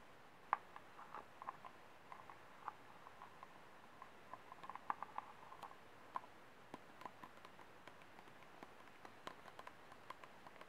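Fingernails tap and scratch the base rim and ribbed wall of a small, empty, ribbed white disposable plastic cup held sideways. The result is a quiet run of short, dry, hollow clicks with a tonal ping around 1 kHz, spaced irregularly over a soft, faint scratching background.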